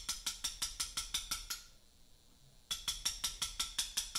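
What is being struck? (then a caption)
Mallet striking a steel chisel on a limestone block. A mallet taps a steel chisel cutting letters into a large, solid Portland limestone memorial block. Nine bright, ringing metallic taps come in a steady rhythm, then a pause of about a second, then nine more taps at the same pace: 18 in all. Each tap rings with a high, clear tone that fades quickly.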